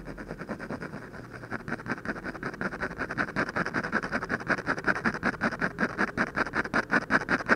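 The tip of a ballpoint pen scratches short hatching strokes on the lips of a portrait drawn on a thin white paper sheet. A quick, steady run of dry, scratchy strokes repeats at a brisk rhythm, with a rasping tone centered around 1.5 kHz. The strokes grow gradually louder toward the end.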